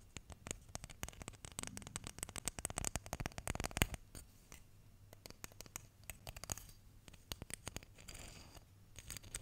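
Fingertips and nails run across and flick the teeth of a solid wooden hair comb with a dark wood handle and light wood teeth. The result is rapid, bright, dry ticking clicks in dense bursts, with a quieter, sparser stretch in the middle, over a steady low hum.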